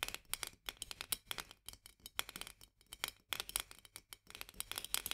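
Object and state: Glass jar tapped with fingernails.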